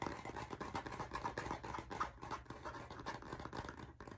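A blue, cardboard-covered spiral-bound hardcover notebook is held near the microphone while its cover is scratched with nails and tapped with fingertips. The result is a fast, irregular stream of dry, scratchy taps and rasps centered in the midrange, each dying away almost at once.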